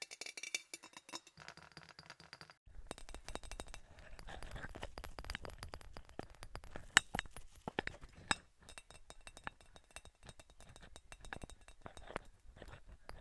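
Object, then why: Glass object. A glass object is tapped, giving quick, bright clinks and light rattles at an irregular pace over a low, soft background. A few taps land noticeably harder than the rest, and each clink stops almost at once with little ringing.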